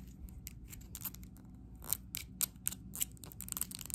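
Long acrylic nails tap and scratch quickly on a small neon plastic paint jar with a plastic screw lid, held close. Short, sharp clicks and scratchy rasps come in a rapid, uneven run, bright at the top with a steady low rumble underneath. Each hit is very dry and stops almost instantly.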